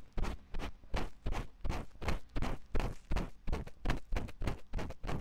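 A thin wooden ear pick, held by fingertips, scratches the ear canal opening of a white silicone ear on a 3Dio binaural microphone. About twenty short, uneven scratching strokes sound close and muffled, heavy in low rumble with little brightness, each dying away almost at once.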